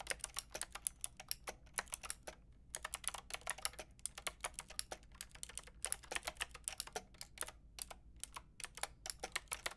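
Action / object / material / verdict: tap / plastic mechanical keyboard with round keycaps / plastic / none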